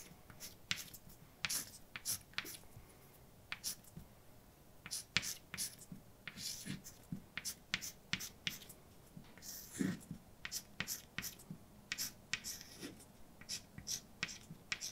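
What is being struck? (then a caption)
Chalk on a slate or painted chalkboard. A hand scratches white chalk across a large dark blackboard, writing words. Quick, bright, gritty scrapes and taps come in rapid uneven bursts with short pauses between strokes, over a quiet, faint background.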